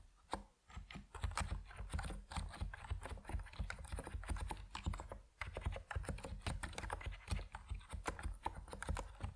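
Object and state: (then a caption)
Mechanical keyboard with PBT keycaps. Fingertips of both hands type steadily on an Epomaker NiZ Plum Atom 68, a 68-key compact mechanical keyboard with white and purple PBT plastic keycaps resting on a wooden desk. The result is a dense run of short, deep, low-pitched clacks with very little ring, broken by brief pauses near the start and just past the midpoint.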